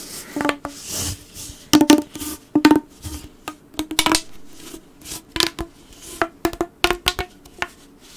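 A blue corrugated plastic pop tube, bent into a loop, is squeezed and rubbed by fingertips along its ribbed plastic. It gives an irregular run of short, dry clicks and pops with quick, bright edges, a hollow tone near 300 Hz and almost no ring. Brief scratchy rubbing fills the spaces between them.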